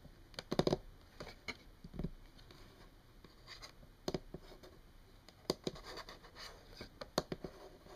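Long painted nails on both hands tap and scratch a solid, flat brown wood-grain tabletop. Quiet, scattered sharp clicks with very short ring are spread over soft scratching and rubbing on the wood, with some brief flurries of quick taps.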